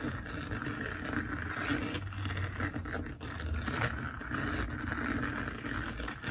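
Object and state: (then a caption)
Diamond painting canvas with resin drills. Fingertips and nails of both hands scratch and rub across the textured surface of a flat, finished diamond painting made of plastic resin drills on canvas. The result is a steady, dense scratching and rustling with a gritty midrange and a low, rumbling undertone, holding at an even level with small dips throughout.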